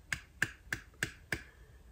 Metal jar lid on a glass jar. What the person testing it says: quand je tape dessus ça sonne pas creux en fait voilà c'est plein